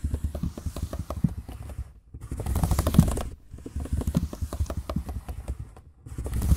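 Fingertips tap the plastic chiclet keys of a silver laptop keyboard in quick, uneven bursts of soft, low clicks with a faint high hiss. The tapping pauses briefly around two and six seconds before resuming.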